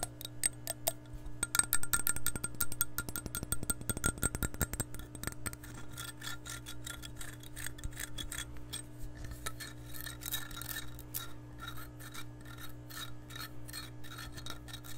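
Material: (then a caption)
Glass. Long nails scratch and rub the outer surface of an empty, hollow, clear glass measuring cup. Quick, dense clicky scrapes with a bright glassy edge come first, then ease into softer, uneven rubbing over a steady low hum.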